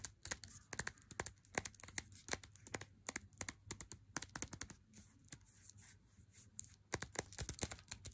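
Long nails tap and scratch the front and edge of a small, unopened, flat printed cardboard box holding a 100g Lindt Swiss Classic dark chocolate bar. Rapid, dry, bright clicks with no ring are broken up by a softer, scratchy stretch of rubbing in the middle before the tapping picks back up.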